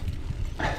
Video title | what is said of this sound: Test Santa Cruz Nomad cc. Une polyvalence folle. | vous le brusquez un peu comme ça craque là on entend bien des moments que ça claque